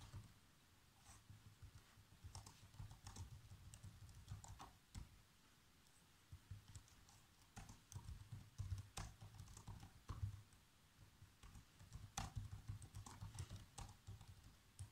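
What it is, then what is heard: Plastic laptop keyboard. Fingertips of one hand type on the black plastic keys of a laptop keyboard, producing quick, light clicking taps in bursts with short pauses in between. A steady low hum sits underneath the bright, crisp key clicks.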